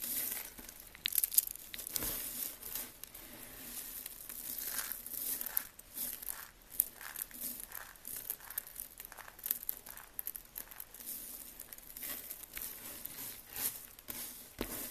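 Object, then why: Soap flakes. A large pile of dry, cream-white soap shavings on a table is grabbed and crushed by hand, the brittle, solid flakes crunching and crumbling. The result is a steady run of dense, bright crinkling crackles with sharp, dry snaps and almost no low end.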